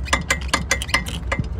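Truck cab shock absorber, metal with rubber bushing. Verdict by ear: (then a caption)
Loose. The loose cab shock absorber on a Volvo FH 460 truck, metal with a rubber bushing, is moved by hand and gives a series of sharp, bright metallic clinks with a faint ringing tone near 2 kHz over a low rumble. The bolt is still in place, but the bushing where the absorber mounts has failed, so it rattles.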